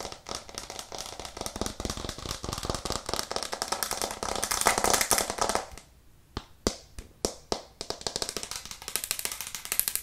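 A white plastic cutting board with green edges, held upright in both hands, is tapped fast and hard with long nails, giving a dense stream of sharp, bright clicks. After about six seconds the flurry stops for a moment, a few separate crisp taps ring out, and then quicker, lighter tapping resumes.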